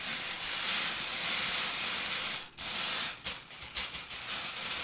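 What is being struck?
Small candy-coated candies.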